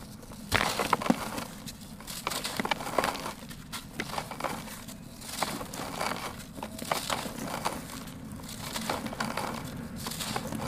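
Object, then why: Sand-cement block. A hand-sized, solid, dry grey sand-cement chunk is squeezed and crumbled by bare fingers and palms over sandy powder in a turquoise plastic basin, raising clouds of dust. Dense, gritty crunching and grinding crackles run throughout, with a sharper crack near the start and short, dry, bright snaps that stop instantly.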